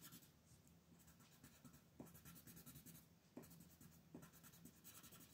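A colored pencil rubs and shades the upper area of a flat paper coloring page lying on a table, while the other hand holds the sheet. Quiet, steady scratchy strokes with bright, hissy bursts repeat throughout, and a few sharper ticks stand out over a low background hum.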